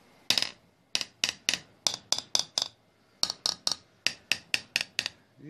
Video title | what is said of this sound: ЗАЗ-965_Доработка глушителя, "Тихий выхлоп" | постучу по нему какой звук будет глухой